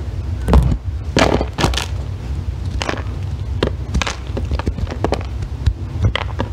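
A thin metal loop tool scrapes a solid green bar of soap, both on the table and held up in hand, as crumbly shavings pile up. Short, dry scraping strokes crackle out in irregular bright bursts over a steady low rumble.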